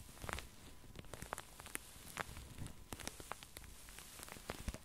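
Long nails and fingertips scratch and rub the satin surface of a soft, filled pink padded satin sleep mask resting on a felt mat. The result is a quiet, crackly rustle dotted with sharp, brief ticks and bright scratchy hiss over a soft low rumble.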